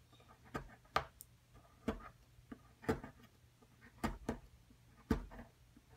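A metal spatula tool repeatedly scrapes and chips the surface of a solid white plaster excavation block while the other hand holds the block still. About eight short, dry scraping and chipping hits come at an irregular pace, each fading almost at once over a faint low hum.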